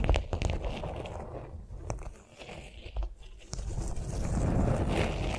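A flat beeswax-coated cotton food wrap lying on a vinyl mat is tapped and scratched by long nails. Quick, irregular crinkly taps and scratches repeat, with a low, dull rumble underneath.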